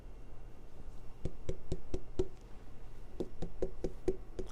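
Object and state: Watermelon knock test.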